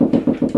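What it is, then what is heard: Hollow plasterboard wall, no stud behind. Five quick knocks on a plasterboard wall, made while checking for a stud, give dull, hollow thuds centered around 250 Hz that die away fast. There is no stud at this spot, so the wall sounds hollow.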